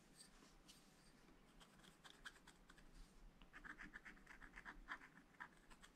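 A wooden stylus scratches lines into the coating of a black wax-coated scratch-art paper page in a spiral-bound pad lying flat on a table. Soft, dry scratching strokes come sparsely at first, then grow quicker and slightly louder in the second half with brighter, raspy scrapes. The overall sound stays quiet and close.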